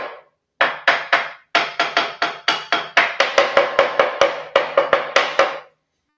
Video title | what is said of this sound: A LIGA EMPRESARIAL 20/12/2025 - Escondendo manifestações patológicas para as festas de fim de ano | colocação dessa lã de rocha Em volta dela para segurar a temperatura então por isso que ela tem esse som oco